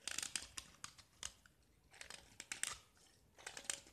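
A small, solid painted gypsum brick, white with remnants of green paint, is held in the fingers and scraped with a metal utility knife blade, shaving off crumbly flakes. Quiet, bright, crisp scraping and crackling bursts come in clusters separated by short near-silent gaps, with almost no low end and no ring.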